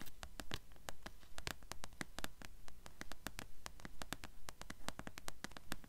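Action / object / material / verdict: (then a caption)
tap / paperback book with paper cover / paper / none. Long fingernails tap quickly on a blue paperback book with a paper cover held in the hands, first on the front cover and then on the narrow spine. The result is a steady run of short, dry, bright clicks over a low, quiet rumble.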